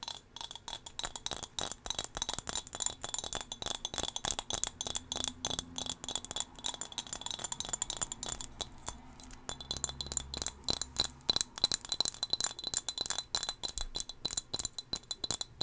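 A small, solid turquoise glass whale figurine is held close to the microphone and tapped with long fingernails. It produces a rapid, steady stream of short, bright glassy clicks and clinks, with faint chime-like tones high in pitch.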